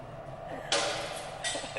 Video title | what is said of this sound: ILHA COMACINA, VENEZA, MURANO - Itália | Yeah, it sounds like plastic.